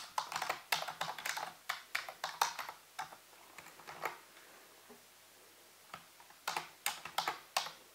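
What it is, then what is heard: Plastic computer keyboard being typed on. Fingertips type rapid taps on the hollow keys of a full-size black plastic computer keyboard on a white base. The clicks are bright and short, coming in quick bursts, then pausing briefly near the middle before resuming toward the end.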